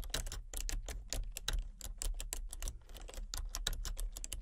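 Long fingernails tap steadily across the keys of a full-size, hollow plastic computer keyboard with color-changing backlit keys. Each press makes a short, bright plastic click over a low rumble. The clicks follow one another in quick, uneven succession.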